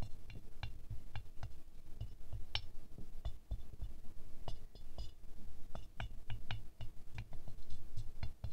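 A small ceramic rose ornament with a silver glaze, resting on a fur rug, is tapped with a wooden stick on its centre and outer petals. The taps come in quick, dull clicks, some fast and some slow, each with a short bright tick over a low thud that dies away almost at once.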